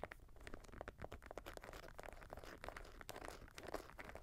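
Fingernails scratch and tap the sole and side of a grey Jordan Flight 45 high-top sneaker made of synthetic leather and mesh, resting on a lap. Dense, quick crunchy scratches and taps come in rapid succession with almost no ring.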